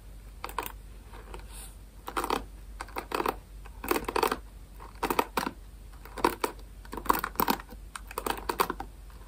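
Fingers scratch and strum the pin bristles of a rectangular plastic paddle hairbrush close to the mic. Short bursts of dry, crackling clicks come in irregular clusters about every second, centered in the midrange around 1 kHz, over a low steady hum.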